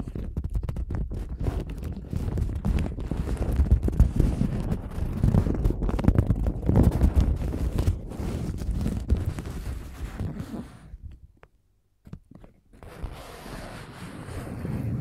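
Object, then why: Folded paper napkin. Long gold nails scratch and tap along the surface of a folded paper napkin with a lemon print, making a dense, rapid run of papery scrapes and soft taps with a heavy low thump. The sound fades near the eleven-second mark and drops to almost silence briefly. It then resumes as a quieter, brighter scratching hiss.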